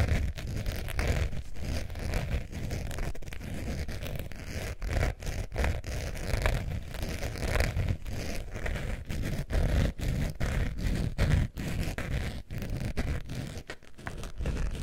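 A beige faux leather zip wallet is held upright toward the microphones while its surface is scratched with long nails. The result is a dense, continuous scratchy rustle, heavy in low rumble with a faint bright hiss, broken by brief quiet gaps between strokes.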